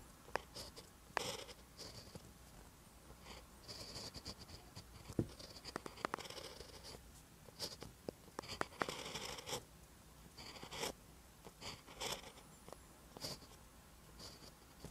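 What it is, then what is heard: Pen writing on paper. A ballpoint pen tip writes Korean letters on a lined paper notebook page, making quiet, scratchy strokes. Bursts of bright scraping alternate with brief pauses and sharp little ticks as the pen moves across the paper.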